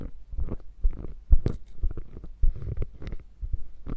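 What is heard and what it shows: Long nails tap and scratch the quilted, padded flap of a hollow beige quilted faux leather bag. The result is a quick, irregular run of soft, muffled low thumps with faint brushing scrapes between them, each tap dying away almost instantly.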